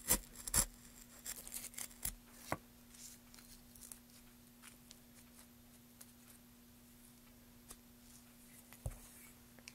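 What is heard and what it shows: A gloved hand carves a solid, light wooden plank with a metal gouge, scraping off curls. Bright, dry scraping and snapping strokes come thick at first, then thin out into softer, scattered scrapes over a faint steady hum.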